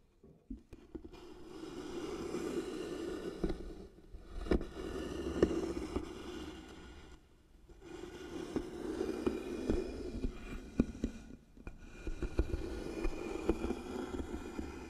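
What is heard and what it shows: Long nails scratch slowly and firmly along the engraved lid of a medium, light-colored wooden box that is likely hollow. Four long passes of dry, rasping friction centered in the low mids are separated by brief pauses, with sharp clicks and ticks as the nails catch on the grooves.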